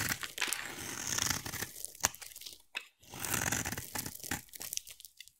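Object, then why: Solid bar of soap cut with a knife blade. A utility knife blade carves a solid, hand-sized oval green bar of soap, shaving off curls. The sound is a series of dry, crunchy, bright scraping strokes with one sharper snap near the middle and a brief pause before the shaving resumes and tapers off.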